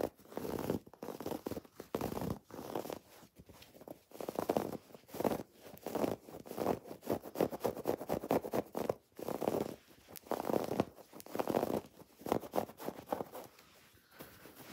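Long nails scratch and rub a soft, stuffed cream woven fabric throw pillow and its raised red and pink felt "XOXO" appliqué letters. The result is a steady run of soft, muffled scratching and rubbing bursts with brief pauses between strokes. The sound is mostly midrange with little deep or bright content.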